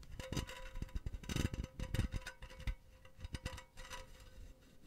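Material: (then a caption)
Metal mesh. Long painted nails scratch and tap a hollow, empty silver metal mesh pen holder held close to the mic. Quick, irregular taps and gritty scratches blend with soft low thumps and bright rasping textures, over a faint steady tone.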